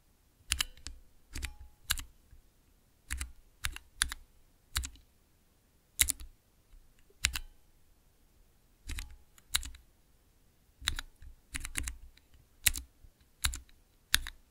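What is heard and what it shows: Fingertips with long nails press the keys of a small, clear acrylic nine-key mechanical keypad with Cherry MX switches. Irregular bursts of sharp, bright clacks each carry a low thump and stop almost instantly. Near-silent pauses separate the bursts.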